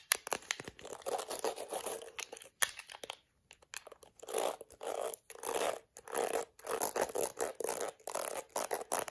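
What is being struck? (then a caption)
Plastic hairbrush with bristles. Long acrylic nails scratch and flick the black bristles of a yellow-rimmed plastic detangling hairbrush. The result is a run of dry, crackly, bright scratching bursts with rapid clicking flicks and brief pauses between strokes, with almost no low end.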